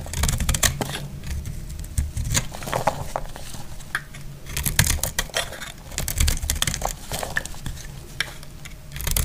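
A solid, dry lavender soap bar is held in the hand and shaved with a metal blade, letting curls fall off. A rapid series of crisp, dry scraping and crackling strokes is heard, with bright papery edges over a steady low rumble. The strokes come in uneven bursts that each stop almost at once.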